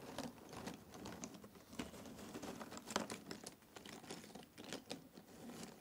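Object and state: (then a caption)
Cardboard jigsaw puzzle pieces. Fingers pick up and drop small handfuls of cardboard jigsaw puzzle pieces in a box. The result is a quiet, steady patter of light clicks and crinkly rattles, with short bright taps and brief louder clatters as the pieces fall.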